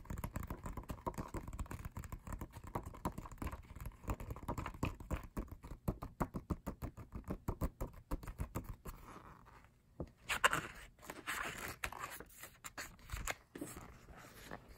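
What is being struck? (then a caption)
Paper lyric booklet. Fingertips tap rapidly on the text pages of an open matte paper lyric booklet from an album, making a dense run of soft, dull patters with a low, thumpy body. The tapping continues for about nine seconds, then gives way to a brighter papery rustle as a page is turned near the end.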